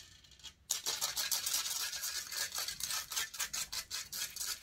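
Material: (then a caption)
Metal mesh. Long painted fingernails scratch the hollow metal mesh grille of a silver condenser microphone. After a brief near-silence, a fast, uneven run of bright, rasping scratch strokes follows, about three to four per second. Almost all of the sound sits in the high range, with no low end.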